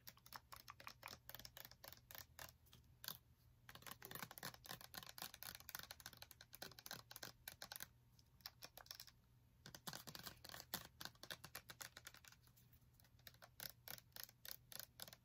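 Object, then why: Plastic pump bottle of liquid soap. A medium clear plastic body wash bottle, full of yellow liquid soap and topped with a black pump cap, is tapped and scratched by long nails. Rapid, dry, clicky taps come in quick runs, broken up by stretches of brighter scratching, over a faint low hum.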